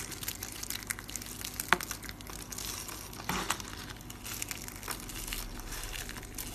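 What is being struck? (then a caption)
Soap curls. Four rolled curls of green dry soap are held in the palm and crushed by the fingertips into brittle flakes, which are sifted and dropped onto a countertop. A steady, dense crackle of fine, bright crunching runs throughout, with a sharp snap near the two-second mark and a louder burst of rustling crumble a little past the middle.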